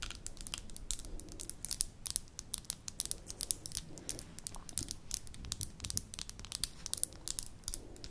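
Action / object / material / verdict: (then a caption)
tap / small amber glass jar with metal lid / glass / none. Long nails tap and scratch the bottom and sides of a small amber glass jar with a gold metal lid, held in the hands. Quiet, rapid, bright clicks come in dense, uneven bursts over a soft, crinkly scratching texture and a low rumble. Each tap is dry and dies away almost instantly, with no ring.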